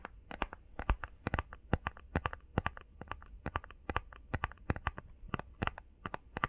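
Long fingernails tap quickly across the faces and edges of a small, hollow, rectangular printed cardboard face mask box. The result is a rapid, uneven run of sharp, dry clicks with bright high edges over a soft, hollow low thump. Each tap dies away almost instantly.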